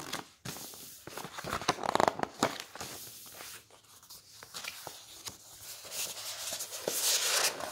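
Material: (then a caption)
Coated paper. Fingertips lift and flip the thick, coated glossy pages of a large open hardcover coffee-table book one by one. Each turn gives a crisp, bright rustle and crackle, with soft swishes in between and a brighter, louder sweep near the end.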